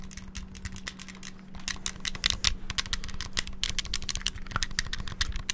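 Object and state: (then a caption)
Clear plastic handheld game console buttons. Fingertips rapidly tap and press the D-pad and buttons of a small, hollow, clear transparent plastic Game Boy handheld held close to the mic. The result is a dense, fast stream of short, bright plastic clicks and clacks with almost no ring, over a faint steady low hum.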